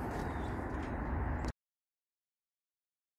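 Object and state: Nothing is struck.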